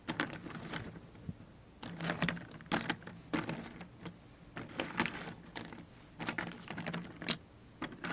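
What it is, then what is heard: Cardboard jigsaw puzzle pieces being stirred. A heap of small, thin, solid cardboard jigsaw puzzle pieces on a cardboard tray is stirred and spread by the fingertips and long nails of both hands. It makes bursts of dry, bright clicking and rustling rattles, separated by short quiet pauses. The result is a crisp, close, tapping clatter much like quick typing.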